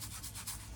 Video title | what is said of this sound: Dog Enrichment Activities ~ Mealtime | hear it kind of shake it's heavy on this side